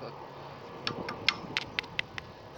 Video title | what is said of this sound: Magnet fishing and that's brad has lost it | sounds like stone